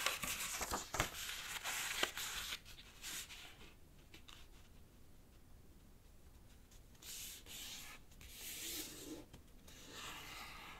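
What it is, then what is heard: Origami paper sheet. Fingertips fold a thin, flat, light-green rectangular sheet of origami paper in half on a black cloth-covered table and rub along the crease. Bright, crisp paper crinkles and rustles fill the first few seconds, then soft, quiet rubbing follows, with brief louder bursts of swishing near the end.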